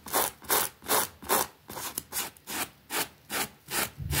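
A pink plastic bristle brush scrubs back and forth across a small, flat, green fabric rug with a rabbit print, lying wet and soapy on a concrete floor. About twelve steady, bright, rasping strokes swell and fade in a regular rhythm, with a soft wet hiss under each one.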